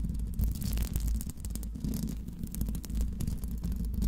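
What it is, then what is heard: Metal microphone grille being scratched. Long pink nails scratch the hollow metal mesh grille of a Blue Yeti microphone. The result is a continuous, heavy, rumbling scratching with dense low thuds and faint bright scraping streaks over it.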